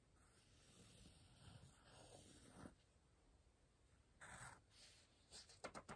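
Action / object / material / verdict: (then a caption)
scrape / pencil on a paper page of a softcover book / paper / none. A pencil scratches and circles words on the paper page of an open softcover paper word-search book. A soft, steady scratching runs for a few seconds, pauses, then returns as a short burst and a few quick, crisp strokes. The sound is quiet and close, with a bright papery hiss over a low rustle.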